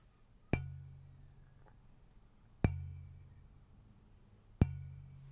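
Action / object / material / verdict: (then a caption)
tap / glass incandescent lightbulb / glass / none. A glass incandescent lightbulb is tapped three times, spaced about two seconds apart. Each tap gives a sharp, bright click followed by a low, humming resonance near 100 Hz that fades over about a second.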